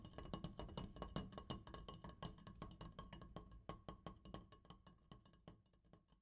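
An opera light is tapped rapidly and unevenly, giving a long string of light clinking taps. Each short tap has a low, woody knock around 200 Hz with faint bright, metallic overtones that die away almost at once. The tapping grows gradually softer toward the end.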